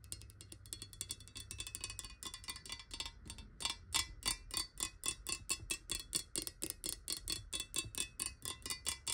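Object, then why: Glass bottle with water. Long nails tap fast on a clear, hollow glass water bottle lying on its side with water inside. The result is a rapid run of short, bright glassy clicks with a ringing tone near 3.4 kHz, blurring together at first and then separating into distinct, evenly spaced taps.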